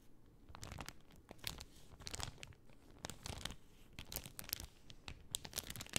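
A pink cellophane sheet is gripped in both hands and rolled and crinkled with fingertips and nails. It makes a quiet, steady run of bright, crisp crackles and sharp snaps, with a soft rustle running underneath.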